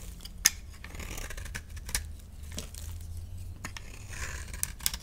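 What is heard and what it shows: A utility knife scrapes and shaves a solid, rectangular, dry yellow soap bar held in the hand, cutting off powdery shavings. Soft, bright scratching strokes run throughout, with a few sharp, crisp clicks where the blade bites. A steady low hum sits underneath.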